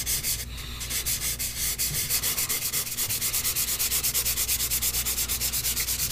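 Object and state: Paper sheet rubbed with pastel.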